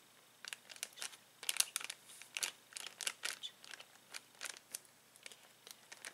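A hand slides over, presses and crinkles a clear plastic bag full of uninflated latex balloons. A quick, uneven series of short, bright crinkling and crackling bursts rises over a quiet background, with no low end and almost no ring after each crackle.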